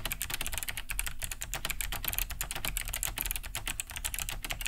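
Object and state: Plastic mechanical keyboard.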